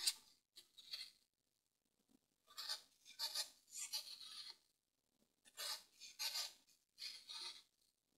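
A green-handled pointed tool scratches lines into the surface of a solid grey dry floral foam brick resting on a table and held with fingertips. Short bright, dry rasping strokes come in irregular bursts separated by silences, with almost no low end.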